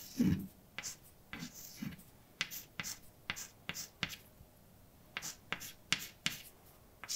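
A hand writes letters with white chalk on a large, dark chalkboard, a flat solid surface. Short, sharp, bright taps and brief scrapes follow one another, with fuller, lower strokes near the start and quiet pauses between marks.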